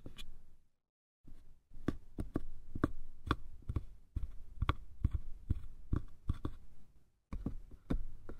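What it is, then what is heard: Hollow wooden box. Fingertips tap the sides and top of a small, hollow, light-wood box with a patterned lid. About twenty short, dull, low knocks come at an uneven pace, each dying away almost instantly. They sit over a soft background with brief silent gaps.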